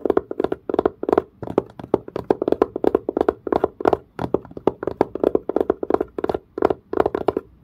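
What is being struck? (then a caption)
Leather-covered case. A fingernail scratches and a fingertip taps on the dark, curved, pebble-grain leather-like surface of a textured leather-covered case. A fast, steady run of dry, crisp taps with a hollow midrange body around 400 Hz follows, each stopping dead with no ring, mixed with faint scratchy grain.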